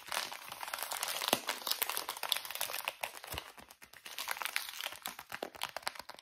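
A small, full soft plastic pouch of wet wipes with white and green print is squeezed and crinkled with fingers. The result is a dense, continuous bright crinkling with many sharp little crackles and almost no low end.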